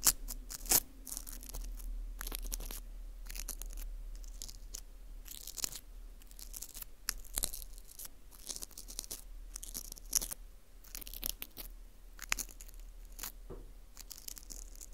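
A green interdental brush is rubbed and scraped across the face and through the hole of a small, hollow ring of dry, porous baked wheat gluten (fu) held in a gloved hand. The result is a steady run of dry, crisp scratching and crunching with sharp, bright bursts over a low hum.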